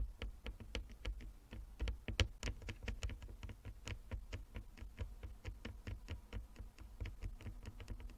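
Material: Wood.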